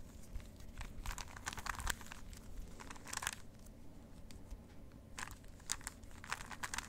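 A plastic 3x3 Rubik's cube is held in both hands while its layers are twisted with the fingers. The twists make quick, bright, crinkly plastic clicks and rattles in short clustered bursts. A quiet, low background hum runs underneath.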